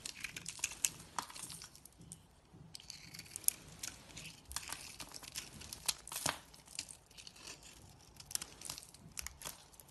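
A knife cuts and shaves slices off a solid beige bar of soap held in the hand, leaving powdery shavings. Quiet, crisp scraping and crinkly crunching come in a steady run of short, bright strokes, with little low end.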